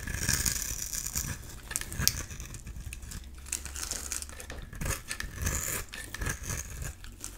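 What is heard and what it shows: A solid oval blue bar of soap is held in the hand and scraped with a metal utility-knife blade, sending crumbly shavings falling. It makes a continuous, bright, crisp rasping and crinkling with short gritty bursts over a soft low rumble.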